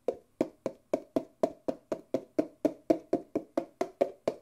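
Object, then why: Empty disposable paper cup. An empty white disposable paper Nespresso coffee cup, small and hollow, is held sideways and tapped and rubbed on its outer wall and base with fingertips. Eighteen soft, hollow taps come at a steady pace of about four per second, each a dull, papery knock centered in the low midrange that dies away almost instantly.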